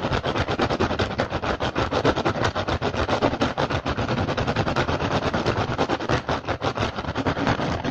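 Fingertips and short nails of both hands rapidly tap and scratch on an upturned, hollow, empty woven rattan basket. The result is a dense, continuous stream of dry clicks and crackly scraping with a hollow low thump under it, steady for the whole clip.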